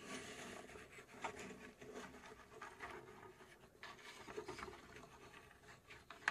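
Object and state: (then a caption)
Plywood puzzle box, scratched and tapped. Long acrylic nails scratch and tap the front panel of a hollow, cube-shaped, laser-cut plywood UGEARS mechanical safe model, about 20 cm across and held in both hands. Soft, continuous dry scratching and rubbing is broken by a few light, sharp taps, with a brighter click at the very end.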